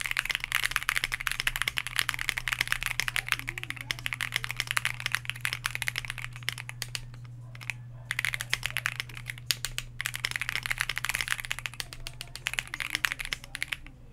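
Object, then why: Mechanical keyboard with PBT plastic keycaps. Fast two-handed fingertip typing on a white Bakeneko60 60% mechanical keyboard with KTT Grapefruit switches, a plastic case, an FR4 plate and PBT dye-sub keycaps, resting on a desk mat. The result is a dense stream of bright, short clacky keystrokes with brief pauses around the middle, over a steady low hum.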